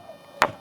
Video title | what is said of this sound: ఎంత బలంగా కొట్టినా..ఈ రాయి మాత్రం పగలదు - Nirmal Hills Musical Stone History -ABN Travel And History | పక్కన రాయిని కొడితే అసలు ఫ్లాట్ ఏమీ లేదు